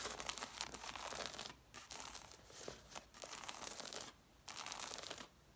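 Long nails scratch across the covers and paper page edges of an angled stack of red hardcover books. The result is a bright, dry, papery crinkling and rasping in dense bursts, separated by a few brief quieter pauses.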